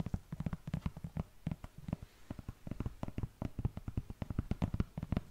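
Long nails scratch and tap across the knit upper and tongue of an empty black knit textile sneaker held close to the mic. The result is a rapid series of short, dry, muffled taps with a low, dull thump and almost no ring, laced with faint soft scratching between them.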